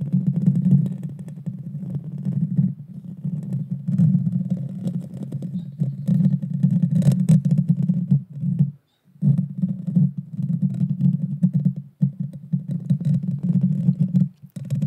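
Long dark fingernails scratch the small, hollow, round metal mesh grille of a Blue Yeti Nano microphone. The result is a dense, continuous low rumbling scrape with almost no high content, broken by a brief silence around nine seconds and short dips near twelve and fourteen seconds.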